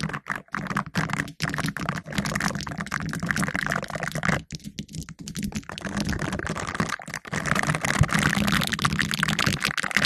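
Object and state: Metal mesh microphone grille being scratched.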